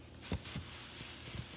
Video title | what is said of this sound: Smoked Basmati Rice With Crispy Potato crust and Barbberies. @dinovalbone | it tells me that the potatoes have separated from the bottom